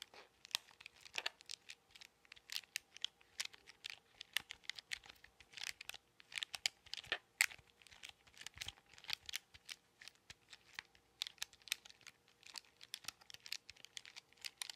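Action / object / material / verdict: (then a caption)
tap / plastic calculator with rubber keys / plastic / none. A handheld plastic scientific calculator with rubber keys is tapped and pressed with fingertips and nails, along with taps on its case. The result is a dense run of quick, dry, bright clicks and taps with almost no ring, over a faint steady hum.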